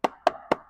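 Three quick, dry knocks on the plastic lower side panel of a Savart S-1P Insignia electric motorcycle, each a short hollow tap centered in the midrange that dies away almost at once. The panel sits at the side and below the hard metal arm cover, and its knock sounds lighter and less solid than that cover.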